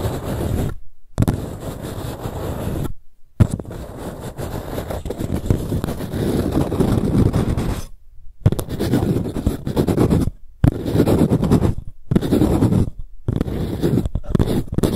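Long nails scratch and tap the sides of a small empty green paper cup. Dense, low, papery scratching comes in bursts broken by short silent gaps, with quick taps mixed in.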